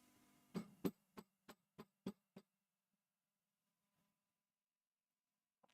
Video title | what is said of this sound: Monday Morning From The Bench - Livestream | you can hear a lot of microphonics like a lot